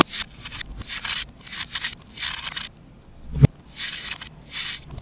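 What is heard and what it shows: A knife with an orange handle scrapes across a solid disc of compressed pale green baking soda/chalk held in the hand over a bowl, shaving off crumbly powder. Repeated bright, hissy scraping strokes come with soft gaps between them. A sharp low thump lands near the end.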